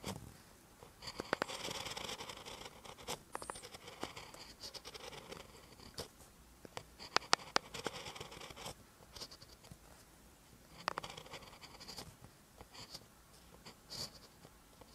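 A ballpoint pen tip writes on a lined paper notebook page, making soft, bright scratching strokes. Short bursts of scraping sound come with small gaps between them and a few sharper clicks from the pen. The sound is quiet and dry with almost no ring.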